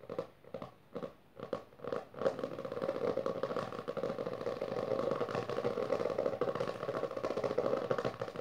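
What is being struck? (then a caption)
Cloth-covered hardcover book. Both hands tap and scratch quickly with long dark-painted nails on the textured maroon cloth or leatherette-covered board cover of a closed, solid hardcover book lying on purple fabric. A few separate taps come first, then they blur into a dense, continuous run of fast scratching and tapping with a steady midrange tone.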